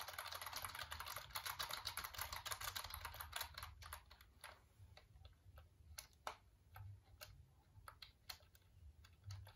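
Fingertips press the keys of a black plastic computer keyboard held in both hands, giving a fast, dense run of bright clicking for about the first four seconds. The clicks then thin out into sparser, separate sharp taps over a faint low hum, each tap dying away almost at once.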